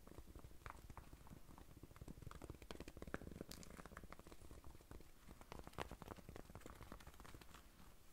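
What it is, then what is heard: Corduroy cap scratched with nails. Long nails scratch the front and top of a rust-brown corduroy baseball cap with a moth patch, near the button. The result is a quiet, continuous run of quick, dry scratching strokes, soft and low-heavy, with brief crackly ticks and no ringing.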